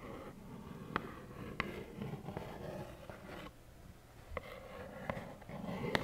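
A small, hollow plaid cardboard tissue box holding tissues is tapped with long nails. Several sharp, clicky taps with a brief bright edge stand out over a soft, low, rustling murmur, and each fades almost instantly.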